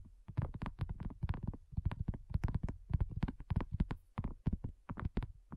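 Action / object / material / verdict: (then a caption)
tap / silicone coaster / silicone / none. Long nails tap rapidly on a flat, round, pink dotted silicone coaster that is thin and solid. The result is a dense, continuous stream of soft, dull, low thuds with almost no ring, fluttering quickly in uneven bursts.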